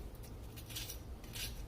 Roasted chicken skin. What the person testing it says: you can hear how crispy it is